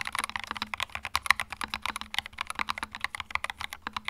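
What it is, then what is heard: Plastic mechanical keyboard. Fingertips type quickly on a small white 65% mechanical keyboard with plastic keycaps and a hollow plastic case, resting on a felt mat. A rapid, steady stream of short, bright, clacky keystrokes centred around 2 kHz, with little low end, each click stopping dead with no ring.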